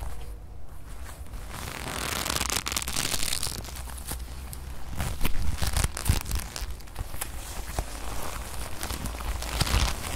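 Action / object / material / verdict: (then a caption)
scrape / leather jacket sleeve / leather / none. A soft, thin brown leather jacket sleeve is folded and rubbed between fingers and scratched with long nails close to the microphone. The result is continuous crinkling, creasing and scratchy rustling with sharp crackles and a low rumble throughout, growing busier and louder from about the five-second mark.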